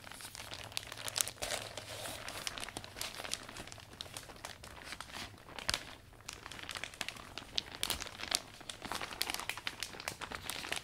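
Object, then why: Thin vinyl umbrella canopy. A closed, new iridescent umbrella with a thin vinyl/plastic, hollow folded canopy is handled, squeezed and unfurled by fingertips while being wiped down. Dense, bright crinkling and rubbing of the plastic comes in rapid, dry crackles with almost no low end or ring, rising in bursts of sharper snaps.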